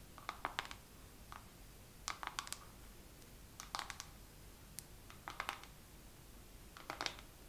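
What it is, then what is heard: Makeup palette. A makeup palette is tapped slowly with long nails in short clusters of sharp, bright clicks separated by quiet pauses. Each tap is crisp and dies away almost instantly over a faint, steady background hiss.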